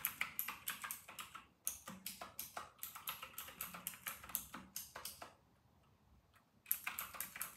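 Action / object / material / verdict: tap / plastic mechanical keyboard / plastic / none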